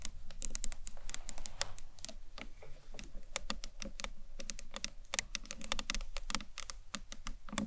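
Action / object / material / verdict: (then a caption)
tap / acrylic box clutch / acrylic / none. Long nails tap the ends and top of a hollow green marbled acrylic box clutch with a handle, held lengthwise. A rapid, uneven stream of crisp, bright clicks plays over a steady low background rumble, each tap dying away almost instantly.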